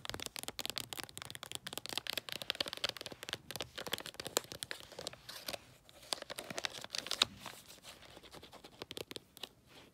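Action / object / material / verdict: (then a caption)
scrape / foil wrapping paper over a cardboard gift box / foil paper / none. A long gift box wrapped in holographic tree-print foil paper is rubbed and scratched by fingertips and nails. A continuous run of crisp, bright crinkling and scratching fills the clip with dense, rapid transients.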